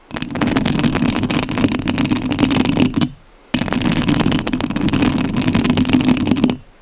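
Long nails scratch the metal mesh grille of a rhinestone-covered studio microphone in two bursts of about three seconds each, separated by a brief pause. Each burst is a dense, continuous rasping scrape with a strong low-mid rumble around 250 Hz and fine bright crackle on top, cutting off abruptly at the end.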